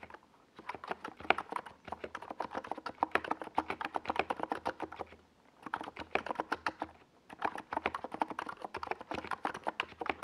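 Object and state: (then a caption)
Plastic mechanical keyboard being typed on. A compact 68-key NiZ Plum Atom 68 mechanical keyboard with a white plastic case and purple and yellow Domikey Gas Attack SA plastic keycaps, resting on a desk pad, is typed on fast by the fingertips of both hands. Dense bursts of short, clacky keystrokes with a mid-range body and a bright top run in three stretches, separated by two brief pauses.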